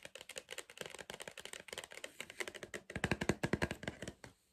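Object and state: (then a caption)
Cardboard crisp tube tapped. Fingertips tap quickly and unevenly on the side wall of a tall, hollow green cardboard Pringles tube held upright. Each tap is a short, dry, hollow knock with a bright clicky edge. Around the three-second mark the taps grow louder with a deeper resonant thump, then they stop, leaving near silence.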